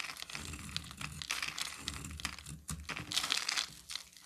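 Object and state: Bar soap being scraped.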